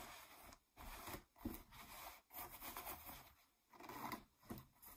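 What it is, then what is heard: Ripped denim jeans scratched. Long nails scratch across a pair of distressed blue ripped denim jeans lying flat. Bursts of dry, rasping scrapes with a bright, fibrous texture come in separate strokes broken by short pauses.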